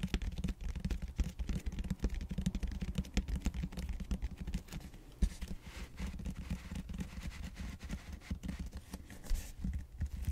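Fingertips scratch and rub across the bead-textured flat round end face of a large purple expanded polystyrene (styrofoam) back roller. A dense run of quick, dry scratching strokes sounds mostly as low, muffled rustles with a faint squeaky bite, continuing steadily for about ten seconds.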